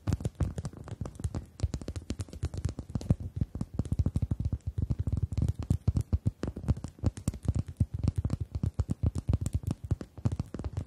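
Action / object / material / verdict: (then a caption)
tap / rubber chicken toy / rubber / none. Long acrylic nails rapidly tap and scratch the surface of a pink-red rubber chicken toy held upright with both hands. The result is a dense, continuous run of soft, dull, low thumps centered around 110 Hz, each dying away almost instantly, with faint bright clicking edges. No clear squeak stands out.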